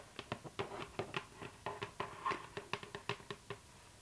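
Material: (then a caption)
Cardboard. Long nails tap rapidly on the lid of a hollow cardboard gift box with a glossy floral print, recorded close up. About sixteen quick, dry clicks sound, each with a hollow mid-range knock near 400 Hz and a bright edge, and each dies away almost instantly.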